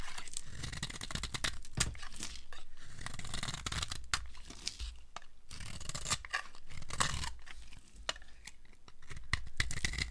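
A metal blade scrapes along the surface of a solid, dry green soap bar, shaving off crumbly curls. The sound is a steady, dry rasping with crackly, tearing texture and frequent sharp clicks, weighted toward low rumble with bright scratchy edges.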